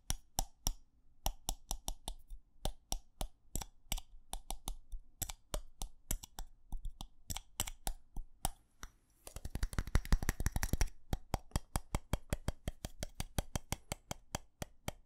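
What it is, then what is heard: Ceramic light-up Christmas tree ornament. Fingernails tap and click the colored plastic bulbs on a small, hollow white ceramic light-up Christmas tree with a yellow star. Short, dry, bright clicks come in uneven bursts, then speed into a dense, rapid flurry of tapping in the middle before settling back into steady, evenly spaced clicks. A faint low hum sits underneath throughout.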